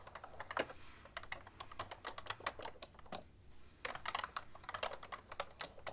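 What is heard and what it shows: Fingertips with long painted nails type steadily on a full-size cream plastic ergonomic keyboard with hollow keys, producing quick, light, clacky taps with bright clicks. The typing runs continuously except for a brief pause just past the midpoint before resuming.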